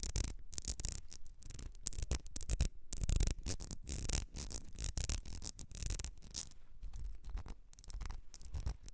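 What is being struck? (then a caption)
Small ribbed glass perfume bottle. Long red nails scratch across the ribs of a small, partly filled ribbed glass perfume bottle with a gold cap. Quick, raspy scratching strokes come in dense bursts with brief pauses between them. Each stroke is bright and scratchy with a low thumpy undertone, and dies away almost at once.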